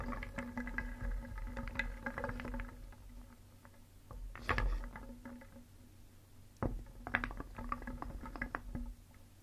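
A wooden spoon held in the fingers stirs a large round wooden bowl filled with many small, solid, painted wooden cones, balls and discs, so the pieces knock and rub against each other and the bowl. A busy clatter of short, dry woody clicks and knocks fills the opening seconds, thins to soft rustling shuffles, and is broken by sharper, louder knocks near the middle. The clatter then picks up again before fading out.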